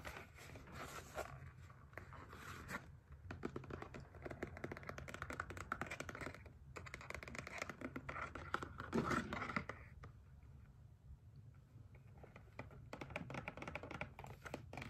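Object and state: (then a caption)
Cardboard palette box. A small, closed, hollow rectangular cardboard eyeshadow palette box with a black-and-white spiral print is held in both hands while fingertips and nails tap and scratch its printed surface. Quick, dry, typing-like taps mix with a scratchy texture over a hollow low body, and each tap dies away almost at once. The activity stays dense for most of the clip, eases briefly around the middle of the second half, then picks up again.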